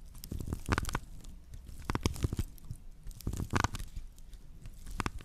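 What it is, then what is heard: Woven straw plate. Long nails scratch across the coiled weave of a flat woven natural-fiber straw plate, its base facing the microphones as it is held in both hands. Short, dry crackling strokes come in clustered bursts, with a soft, low-heavy body and quick, bright scratchy edges that stop abruptly without ringing.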